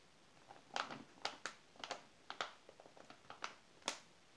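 A palm and fingers rub over the glossy page of an open glossy paper magazine, then the page is turned and flattened. Quiet, bright papery swishes and crinkles come in short, dry bursts that die away almost at once, with a low level overall.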